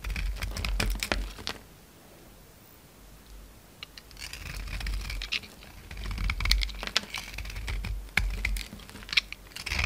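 A utility knife blade scrapes and shaves the purple glitter outer layer and white soap from a palm-sized solid oval bar held in the hand, leaving flakes. Quick, crisp scratching and crackling strokes come in bursts, with a quiet pause in the early part of the clip, over a low background rumble.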